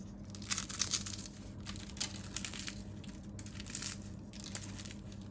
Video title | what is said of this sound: ✨İFTAR SOFRALARINIZA YAKIŞACAK 10 ÇEŞİT TARİF🌿 - 10 kişilik Misafir Menüsü🌙 #ramazanmenüsü | bu sesi duyabileceğiniz çıtır çıtır börekler